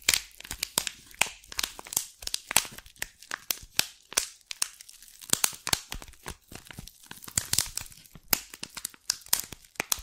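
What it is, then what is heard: Cellophane-wrapped tea box. Long black and red nails scratch and crinkle the thin cellophane wrapped around a small green tea box held close to the microphone. The result is a dense run of sharp, bright crackles and tearing-like crinkles with almost no low end, each burst stopping almost instantly.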